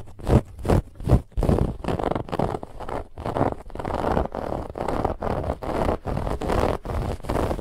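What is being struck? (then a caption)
Stuffed fabric pillow with woven textured band. Long fingernails of both hands quickly scratch a soft, stuffed white fabric pillow with a woven textured band. Rapid bursts of rough, rustling scrapes repeat in an uneven rhythm, with a full, low-heavy tone and little high-end hiss.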